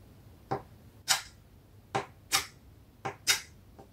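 A stick of chalk is rubbed and stroked across a solid, flat, rectangular black chalkboard sheet lying on a table, drawing grass lines. Six short, bright scratching strokes come in pairs, with a faint seventh at the end. Each stroke is a quick rasp that fades fast over a quiet background.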